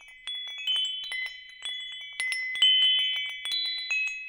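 A hanging wind chime with hollow metal tubes has its tubes tapped by fingertips, then is held up and swayed. Bright, high metallic tones around 3 kHz ring out in overlapping strikes at an irregular pace. Each note sustains and slowly decays under the next, with no low end at all.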